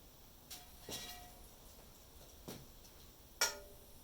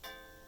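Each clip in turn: First: cracked cast iron skillet. Second: uncracked cast iron skillet.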